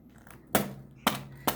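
The crispy baked crust of a potato börek made from filo dough is tapped three times. Each tap is a short, sharp, dry crunch with a quick bright crackle that fades fast, and the crisp crust sounds just as it should.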